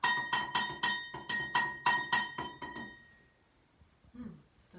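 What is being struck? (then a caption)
Metal cooking pot. A pot is tapped with sticks about ten times in a quick, uneven rhythm, each hit giving a bright ringing tone around 1.9 kHz. The ringing fades away after the last tap, leaving near silence with a few faint soft sounds.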